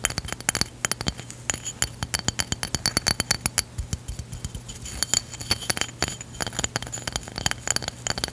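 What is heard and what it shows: A round, palm-sized, solid tan absorbent stone/ceramic drink coaster with an etched design and cork backing is tapped and scratched with long pink nails. Rapid, bright clicking taps mix with scratchy strokes across the surface, and each hit dies away almost at once.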